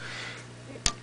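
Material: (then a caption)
Glass. A warmed-up General Electric 12AX7 vacuum tube in a high-gain noise test fixture is tapped once, giving a single short, sharp click over a steady low hum and hiss from the amplifier. The click fades quickly, showing this triode section is not too bad, with little microphonic pickup.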